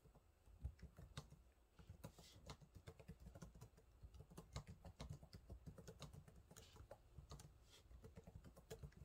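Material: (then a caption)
Plastic. Fingertips type steadily on the low-profile plastic keys of a silver laptop keyboard, producing a quick, uneven run of soft, dull taps. Each keystroke is a short, dry thump with little ring, weighted toward the low end, with occasional brighter clicks and a few louder strokes standing out from the quiet patter.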